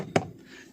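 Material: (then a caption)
Hard plastic. A single knock on the hard plastic dashboard of a 2018 Hyundai Creta gives a short, dull thud with a faint midrange body that dies away almost at once. The panel sounds somewhat hollow, though not very hollow, and the hard plastic is still of good quality compared with lower-end cars.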